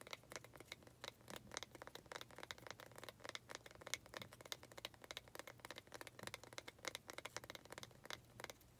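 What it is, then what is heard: Wooden planter. Long red nails tap and scratch across the wood grain of a small faceted wooden pot holding an artificial cactus. The result is a quiet, steady stream of quick, dry clicks and scratchy, crinkly strokes with a bright edge and almost no ring. A faint low hum sits underneath.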